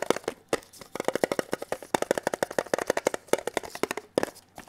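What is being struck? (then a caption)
Small metal tin box. Bare and latex-gloved fingertips tap a small, hollow, red printed metal Kellogg's tin box held upright and flat. A rapid, uneven run of short, dry taps rings briefly with a hollow metallic tone around 480 Hz, with faint crinkly high edges.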